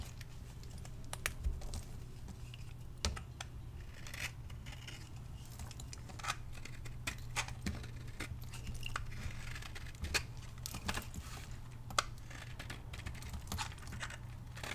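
A solid pink bar of vintage dry soap, held in the hand, is cut and scraped with a metal blade, with shavings piling up on a marble surface. Quick, dry, crisp scraping and crunching clicks, some sharp and bright, come in irregular bursts over a steady low hum.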